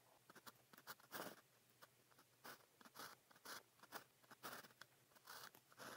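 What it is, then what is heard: Pen writing on paper. A blue plastic pen tip is drawn across a sheet of grid practice paper while writing, producing a quiet series of short, bright, scratchy strokes separated by brief pauses. Some strokes are longer and louder, with a dry, crunchy texture and almost no low end.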